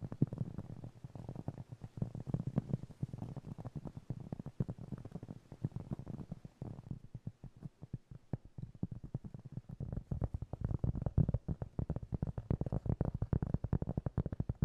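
A round, flat, solid cork trivet about 20 cm across, held in both hands, is tapped and scratched with the fingertips, possibly with added reverb. Rapid, soft, dull taps run almost continuously, with a low thuddy body and little brightness, under a faint scratchy hiss. The tapping thins out and quiets slightly in the middle, then returns denser and louder toward the end.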